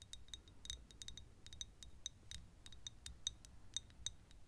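Long nails tap and scrape on a small, thick glass perfume bottle that is partly full of yellow liquid and tilted sideways. The result is a quick, irregular run of short, bright clicks with a faint glassy ping near 3.7 kHz that dies away almost at once. Soft scraping is heard between the taps over a low, quiet rumble.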